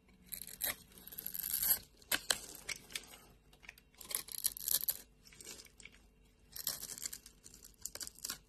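A metal blade scrapes and cuts into a solid white bar of soap carved with a grid pattern, breaking off crumbs. Bright, crisp crunching and scraping comes in several dense bursts separated by short quiet pauses, with almost no low end.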